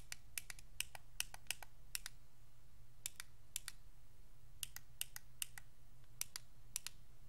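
Thumbs click the face buttons and d-pad of a white Xbox 360 controller made of hollow hard plastic, with fingers working the triggers. Sharp, bright plastic clicks come in quick, irregular bursts over a steady low hum, each click dying away almost at once.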